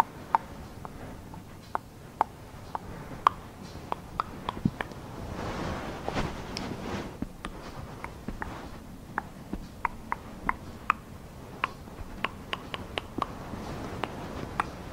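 Long green acrylic nails and fingertips of both hands scratch and rub a bunched-up, soft, non-rigid plush fabric blanket with a black, white and grey animal-print pattern. A quiet, breathy fabric rustle runs throughout, dotted with many sharp, dry nail ticks, and swells into a fuller, brushing rub around the middle. Each tick dies away almost instantly.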